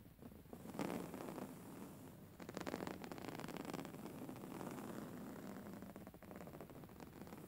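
Long fingernails scratch back and forth across the cover of a soft, filled grey woven-fabric pillow. It makes a steady, dry, scratchy rustle in overlapping bursts that swell and fade, with a soft low body and little bright hiss.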